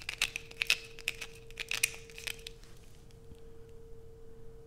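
Long pointed acrylic nails scrape the grooved surface of a solid blue bar soap held in both hands, sending shavings falling. Sharp, bright scratches come in quick, uneven bursts for the first two seconds, then fade to softer scraping over a steady low hum.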